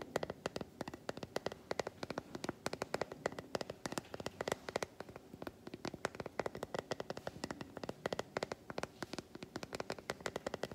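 Long white acrylic nails tap quickly across the squares of a solid, segmented milk chocolate bar held upright in one hand. The result is a fast, steady stream of sharp, dry clicks with a hollow mid-range tone and almost no ring, over a faint crackly background.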